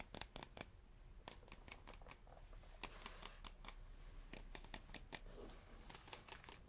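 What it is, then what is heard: Hard cardboard tube. A hard cardboard tube is tapped in a quick, irregular series of short, dry taps. Each tap is a crisp broadband click with almost no ring, set against a quiet, low background hum.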